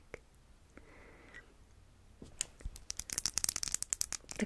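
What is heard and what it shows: Long nails tap the glass sides and dark teal cap of a small, square, clear glass perfume bottle that is partly filled. A few faint, scattered taps and a soft hiss give way to a quick, uneven run of sharp, bright clicks with almost no ring.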